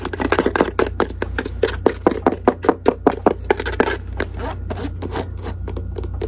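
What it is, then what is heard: Faux leather jewelry box. Long acrylic nails scratch and tap the lid and sides of a small, hollow, closed white faux-leather jewelry case held in both hands. The result is a quick, irregular stream of dry, clicky taps with no ring, mixed with short scratchy scrapes over a steady low hum.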